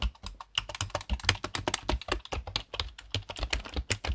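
Fingertips tap the keys of a black plastic desktop keyboard in fast typing. A rapid run of short, crisp plastic clicks with a low thump and bright edges, each dying away almost at once.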